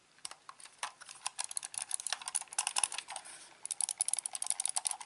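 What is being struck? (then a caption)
Plastic computer mouse. A black hollow plastic gaming mouse is held in both hands, turned over and handled while its buttons and scroll wheel are clicked with the fingertips. Quiet, rapid, bright plastic clicks and taps come in a dense, irregular stream, with a brief softer rattling lull before the clicking picks up again.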